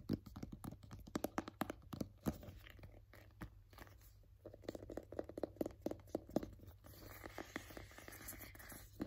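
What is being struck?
Small rigid cardboard box.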